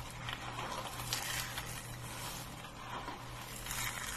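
Fingers dig into a pile of small, dry green soap flakes on a wooden table, squeezing them and letting them drop. The result is a continuous bright, crisp crunching and rustling crackle over a faint steady low hum.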